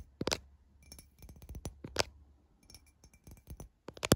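Long fingernails tap the side of a tall, clear glass drinking tumbler near its rim; the empty, hollow tumbler lies on its side with droplets inside. Quick, irregular clicking taps each give a short, bright glassy clink that dies away almost at once. The louder taps come near the start and at the very end.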